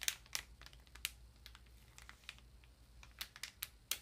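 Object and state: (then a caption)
Plastic-wrapped paper ream. Long nails tap and fingertips rub the thin plastic wrap on a solid, block-like ream of printer paper. Quiet, bright, sharp clicks land at an irregular pace over soft, crinkly rustling. Each tap dies away almost instantly.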